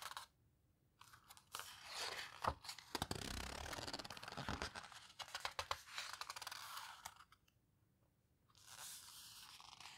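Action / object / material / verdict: scrape / paper photo book pages / paper / none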